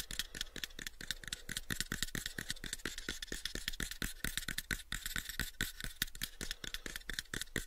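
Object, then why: Small wooden box. A small, light-coloured wooden box, about a 7-inch cube and likely hollow, is held in both hands close to the microphones while short fingertip nails tap and scratch its faces. Quick, dry, bright clicks come in a dense, steady stream, each dying away almost at once, with a soft scratchy texture and a faint low hum underneath.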